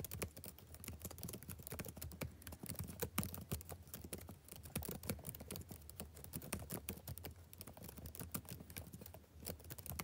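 Fingertips type rapidly on a backlit plastic laptop keyboard, producing a steady stream of quiet, short, crisp key taps. A soft low hum sits underneath the clicking throughout.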